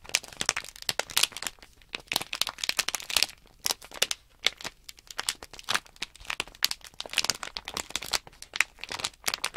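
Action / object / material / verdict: scrape / small sealed plastic package bag / plastic film / none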